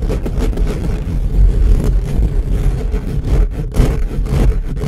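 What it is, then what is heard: Metal mesh microphone grille being scratched. The hollow silver steel-mesh capsule grille of an upright black USB microphone is scratched fast along its sides with the short fingernails of both hands. The result is a continuous, dense, bass-heavy scraping rumble with a low, boomy body. It swells and dips in quick, uneven surges throughout.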